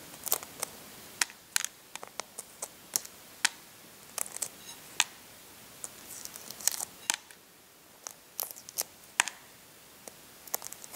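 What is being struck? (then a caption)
Hard-boiled egg shell. Fingers and nails pick small pieces of shell off a brown, partly peeled hard-boiled egg. Sharp, bright crackles and ticks come in irregular bursts and clusters, each dying away almost instantly over a faint hiss, with nothing in the low end.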